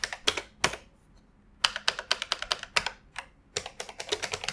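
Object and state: Plastic computer keyboard being typed on.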